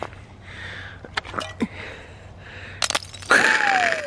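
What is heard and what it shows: Unusually thick ice on a rain puddle that froze overnight is stomped on and broken. Several sharp cracks and snaps lead to a loud, glassy shattering crack that rings with a high, falling tone.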